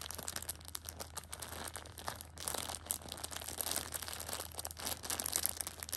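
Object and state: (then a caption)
Plastic-wrapped tissue pack. A Shopkins pocket tissue six-pack in clear plastic film is held and pressed with fingertips and nails to crinkle the wrap. The result is dense, bright, crackling crinkles with no ring, briefly easing around the two-second mark before building again. A steady low hum sits underneath throughout.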